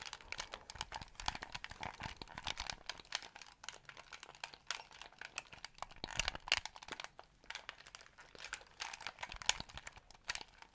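A small white hollow plastic game controller is held in both hands close to the microphone and near the ear while fingertips tap its shell and press its buttons. The result is a dense, steady stream of quick, dry plastic clicks and taps with a bright, crinkly texture and almost no low end.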